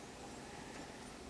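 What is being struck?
Nothing is struck.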